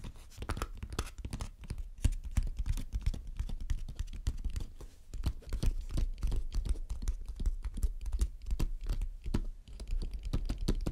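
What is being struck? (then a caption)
Small painted wooden box. Long dark-red nails tap and scratch on the lid and sides of a closed, hand-sized hollow hexagonal painted wooden box with mint, black and red stripes and a small metal clasp, resting on a dark table. A quick, irregular stream of short, dull, low taps mixes with brief scratchy strokes, each dying away almost instantly.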